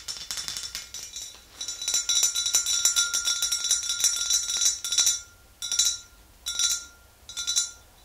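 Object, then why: Glass swing-top bottle. Long green nails tap the neck and shoulder of a tall glass swing-top bottle nearly full of yellow liquid. Rapid, bright clinking taps run for about five seconds, then come in four short bursts separated by quiet gaps. A thin, steady glassy ring sits under the taps throughout.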